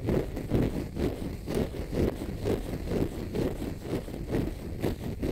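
A palm-sized, pale green konjac fiber facial sponge, solid and porous, is scratched with fingernails. The result is a steady run of muffled, low scratching strokes, a little over two per second. Each stroke is a short rasp with little bright content that dies away quickly.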